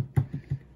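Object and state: Chocolate brick released from its mold, sounding hollow.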